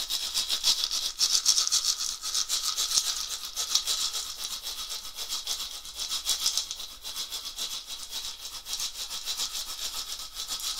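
A round, dried, hollow, filled gourd rattle with a wooden handle is shaken by hand in swinging motions. It makes a steady, rhythmic, bright rattling hiss, with quick, continuous shakes of seeds clattering inside and almost no low end.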